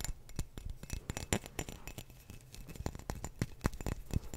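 A clear glass wine bottle with a teal cap is held horizontally in front of a microphone while fingertips and nails tap and scratch its base. A quick, uneven series of short, dry taps and bright clicks comes with soft scratching between them. Each tap has a low, thumpy body and dies almost instantly, with no lingering glass ring.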